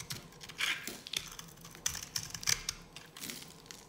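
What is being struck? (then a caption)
Bar of soap cut with a metal knife. A metal knife blade scrapes and cuts a solid, dry yellow bar of soap held in the hand. It makes a series of short, crisp, bright scratching and crackling sounds in irregular bursts, each fading almost at once.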